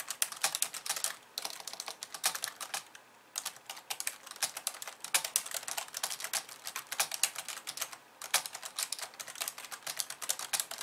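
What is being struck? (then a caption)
Plastic computer keyboard. Fast two-handed typing on a pink plastic computer keyboard with white keys, using long painted nails and fingertips. It makes dense bursts of bright, crisp clicks and taps with almost no low end, broken by brief pauses near 1.3, 3 and 8 seconds.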